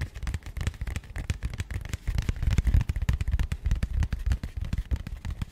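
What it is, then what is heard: Cardboard box. Fingernails of one hand tap and scratch the flat face of a small matte grey cardboard box held close to a microphone. Rapid, irregular, dull taps with short, dry decays sit mostly in a deep, thumpy low end, with faint bright scratchy ticks between them.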